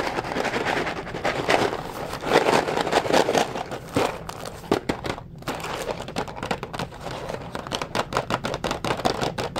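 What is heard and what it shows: A blue Ronzoni pasta box of hollow cardboard, probably with pasta inside, is held in the hand and tapped and scratched with the fingertips. The result is a steady run of dry, papery taps and crinkly scratching centered in the midrange, with a brief quieter stretch about halfway through before the quick tapping resumes.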